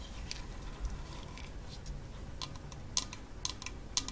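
A hand-sized hollow half-coconut kalimba with a painted wooden top is tapped quickly by long false nails on the wooden rim and the brown coconut shell underside. Short, dry, bright clicks come at an uneven pace over a low, steady background hum. Sharper taps stand out near the end.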